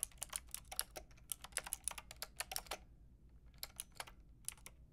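Fingertips with long red nails rapidly tap a Lofree mechanical keyboard, its white translucent plastic hollow case with round pink and grey plastic keycaps resting on faux fur. Bright, short plastic clicks come in a quick burst, pause briefly around the three-second mark, then resume over a low steady hum.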